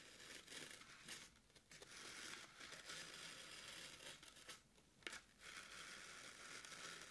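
Very long pointed acrylic nails poke and scratch into the top of a solid, soft, porous rectangular green floral (oasis) foam brick sitting on a wooden table. The result is a quiet, bright, dense crunching and crackling texture with brief pauses and one sharper crisp snap partway through.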